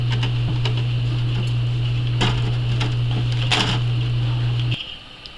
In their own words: so here we are in the next day listen to how crispy these crackers are